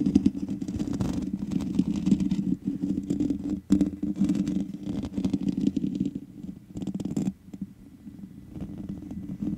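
Long nails scratch the hollow metal mesh head of a black microphone, making a dense, scratchy rustle with a strong low hum around 200–300 Hz and brief dips in between. The scratching settles into a quieter, gripping rub near the end as the fingers close around the grille.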